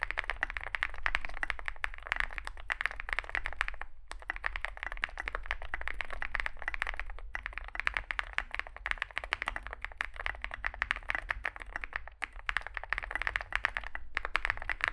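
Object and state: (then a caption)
Mechanical keyboard being typed on. Both hands type continuously with their fingertips on a compact 65% Zoom65 mechanical keyboard, with an aluminium case, foam filling, lubed switches and SA plastic keycaps, resting on a desk mat. A dense, rapid stream of short, dry clacks centers in the mids around 1.8 kHz over a low background rumble, with brief pauses near 4, 7 and 12 seconds.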